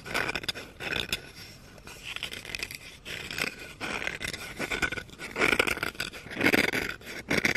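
Red-painted nails scratch along the back and handle of a solid wooden spoon held in the hands. Uneven, dry scraping strokes come in bright, raspy bursts that swell and fade, with no ring after each stroke.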